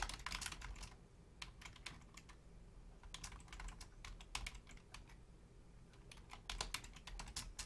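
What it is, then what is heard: Plastic computer keyboard. Long painted nails and fingertips type on a full-size black plastic Logitech keyboard with low-profile keys. Bursts of quick, bright, clicky keystrokes come in runs with short pauses between them, over a steady low hum.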